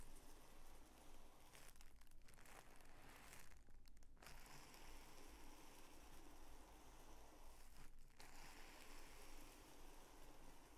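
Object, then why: Folded tissue paper sheet. A narrow, multi-layer strip of folded purple tissue paper is folded further and pressed flat with the fingers, crinkling it. Soft, continuous crinkling and rustling sits over a steady low hum, with brief dips in the brighter texture as the handling pauses.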